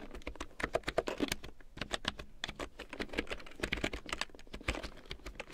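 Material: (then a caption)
Plastic. A full-size large print keyboard with a black plastic frame and big yellow plastic keycaps, lying on faux fur, is typed on with long painted nails and fingertips. A steady flurry of quick, dry plastic clicks and taps follows, each short and bright with a little low thump beneath.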